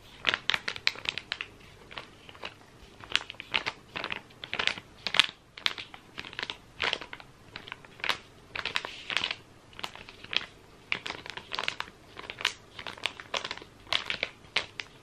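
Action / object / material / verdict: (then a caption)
scrape / soft plastic wet wipes packet / soft plastic / none. Fingers squeeze and crinkle a soft, flexible, sealed plastic packet of wet wipes with a green trim. Quiet, bright, crackly crinkles come in rapid bursts throughout, with almost no low end and no ring after each crinkle.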